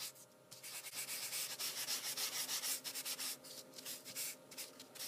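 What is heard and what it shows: A folded white tissue held in the fingers is rubbed back and forth over a pencil drawing on heavyweight sketching paper to blend the shading. The sheet lies flat on a wooden table, held down by the other hand. The result is a quiet, bright, airy hiss of rapid, uneven brushing strokes that swell and fade, with almost no low end.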